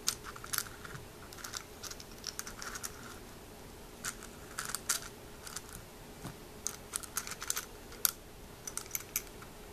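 Fingers stir through dry, hollow snail shells in a small white milk glass jar, picking them up so they clink against each other and the glass. Bright, quick clicks and ticks come in scattered clusters over a low steady background, with a faint hum throughout.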